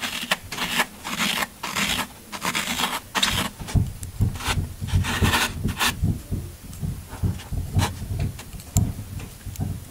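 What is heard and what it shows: A pointed tool scrapes and gouges crumbs from the side of a solid green floral foam half block held in the hand. It makes a run of short, rasping, crunchy scrapes with bright hiss and a low thud underneath, separated by brief pauses.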